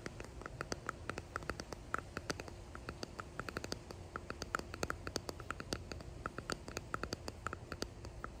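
A small clear resin hexagon box with pressed flowers embedded in it is held in both hands and tapped and scratched with fingertips and nails, with rings on the fingers. Many quick, dry clicks and taps with a bright edge centered around 1.3 kHz patter over a faint low rumble and soft scratching. Each sound stops almost instantly with no ring.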